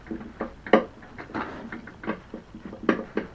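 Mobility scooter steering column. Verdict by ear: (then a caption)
Loose. Moving the steering of a mobility scooter sets off a loose part rattling inside the steering column while the tiller itself stays tight. About nine short, sharp clattering knocks are heard, with a midrange rattle between them. The rattle is abnormal, possibly from a loose plastic mounting tab on the front-light relay, though this is unconfirmed.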